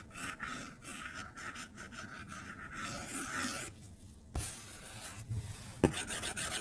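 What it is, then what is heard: Stylus scribbling on a glass tablet screen. A plastic stylus tip scribbles across the flat glass screen of an iPad tablet, making a steady, dry scratching rasp with bright, hissy upper tones. A few sharp taps break through, one around the middle and a louder one near the end, before the scribbling resumes.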